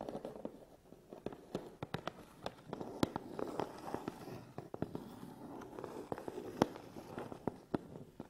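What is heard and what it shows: Fingernails tap the top and front of a closed, hollow, medium Canon cardboard box, and fingertips scratch its front face. Sharp, dry, hollow clicks come in an uneven series over a soft, continuous scratching rustle. Each tap dies away almost at once.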